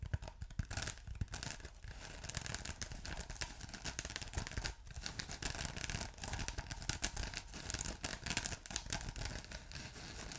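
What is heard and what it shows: A ridged blue polyethylene foam block with a glittery texture, soft and solid, is scratched by fingertips and short nails. The result is continuous close, dry, bright scratching with rapid bursts and brief pauses, plus a low rumble underneath.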